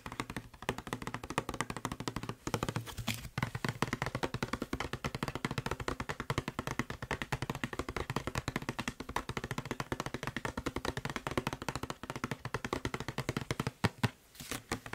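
Fingertips and short nails tap rapidly on the labeled side of a hollow blue plastic Febreze spray bottle held in one hand. The result is a dense, continuous stream of short, dry taps with a low hollow tone, broken by a few brief pauses.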